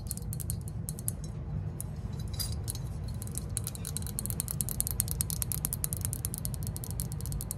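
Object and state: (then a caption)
Glazed ceramic lantern figure. A green glossy glazed ceramic lantern figure, hand-sized and hollow, is held in both hands and tapped and scratched with long acrylic nails. Quick, bright clicking taps and scratches rattle steadily over a constant low hum, with no single hit standing out.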